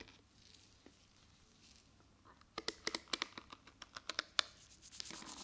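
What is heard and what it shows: Long painted nails scratch and flick across the dense, short plastic bristles of a handheld pink and black plastic detangling hairbrush. After a quiet, faint scratching start, 13 sharp, bright flicks crackle out in a quick run. They end in a louder, hissy scrape.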